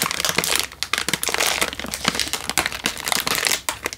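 A single full Indomie instant noodle packet in a crinkly plastic wrapper is held in one hand and squeezed with the thumb and fingers. The result is dense, bright crinkling with many sharp, quick snaps and almost no low end.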